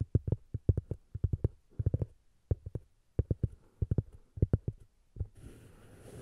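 Fingertips and nails scratch and tap a flat, solid round cork disc resting on the recorder. About two dozen short, dull, low thuds come in quick clusters. The clip ends with a longer, brighter scratching rasp across the surface.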